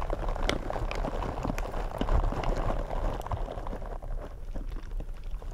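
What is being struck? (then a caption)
Foam microphone windscreen. Gloved fingertips in purple rubber gloves tap and scratch two black foam microphone windscreens. The result is a dense, irregular crackle of soft scratches and muffled thumps over a heavy low rumble, with occasional bright clicks. It grows slightly quieter toward the end.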